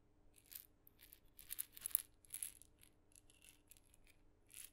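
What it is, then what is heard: Small wooden maraca with loose filling. A tiny painted wooden maraca, red with blue dots and a glossy head on a light wooden handle, is held by the handle in the fingertips and shaken beside the microphone, its hollow head holding loose filling. Quiet, uneven bursts of bright, hissy rattling come and go over a faint steady low hum, each burst crisp and dying away almost at once.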